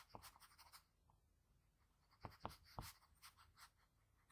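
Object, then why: Graphite pencil on a sheet of drawing paper. A graphite pencil draws strokes across a sheet of drawing paper over a face sketch, moving from the nose up to the forehead. Quiet, dry scratching strokes come in uneven bursts, with a hushed pause in the middle before a few sharper strokes.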